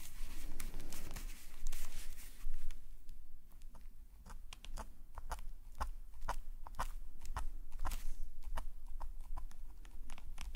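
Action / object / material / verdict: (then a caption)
scrape / metal pen nib on paper sketchbook page / paper / none. A metal nib pen scratches curved lines across a black paper sketchbook page lying flat. A dense run of short, dry scratchy strokes with bright papery edges is heard over a steady low hum, with a brief louder rustle of paper near the start.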